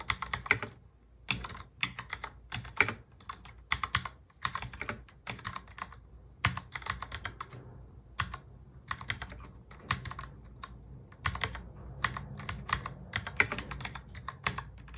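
Fingertips of both hands press the keys of a full-size black plastic mechanical keyboard in fast touch typing. Rapid, bright clacking keystrokes come in dense bursts with brief pauses, each one short and sharp over a faint low thump.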